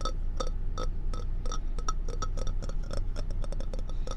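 Long red-painted nails tap and scratch all over a hollow, empty, hand-sized orange and white ceramic mug shaped like a fox. Quick, bright clinks with a short ring come at an irregular pace, each carrying clear tones around 500 Hz and 1.3 kHz plus higher overtones. A steady low rumble sits underneath throughout.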